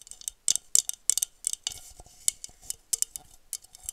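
Long nails tap and scratch an empty blue wine glass with a honeycomb-textured bowl. About fifteen quick, bright clicks sit almost entirely in the high treble and stop almost instantly, with faint scratchy rasps between them.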